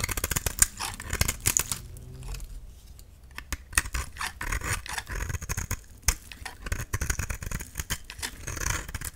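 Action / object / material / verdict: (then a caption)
scrape / dry soap bar scraped with a metal blade / soap / none. A solid, cream-colored dry soap bar held in the hand is scraped, scored and shaved with a metal utility-knife blade. Rapid, crisp scratching and bright, dry ticks come in dense bursts, with a quieter, softer stretch of scraping in the middle before the sharp shaving strokes pick up again.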